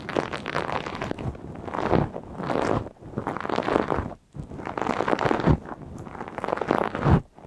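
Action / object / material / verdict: scrape / plastic mesh scouring pad / plastic mesh / none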